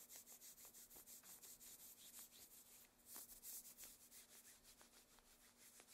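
Long, thin black satin opera gloves worn on both hands rub and slide over the forearm and against each other, making a steady, airy swishing with bright, high fabric hiss. The strokes come in a quick, loose rhythm of repeated passes, getting louder and rougher for a moment near the middle before settling back.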